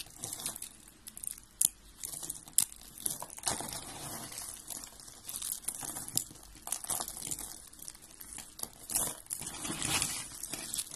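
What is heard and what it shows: A pile of dry white and blue soap curls and small flakes on a gold surface is crumbled and rubbed between fingertips with red-painted nails. The result is a quiet, steady stream of bright, crisp crinkling and crunching, broken by a few sharper crackles. There is very little low end and almost no ring after each snap.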